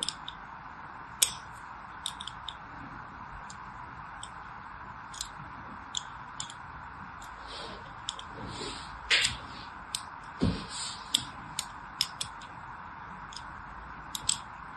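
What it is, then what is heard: Bar soap scored with a needle. A metal needle scores lines across a solid orange and white striped bar of soap held in the hand, making sharp, bright scratching ticks spread over the clip. A few louder scrapes stand out against a steady low hum.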